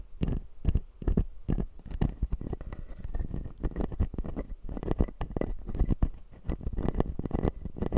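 Fingernails tap the white resin teeth of a clear acrylic full-jaw dental model in a quick, uneven series of short, dry taps. Each tap is muffled and low-heavy, dying away almost instantly, with soft scratchy contact in between.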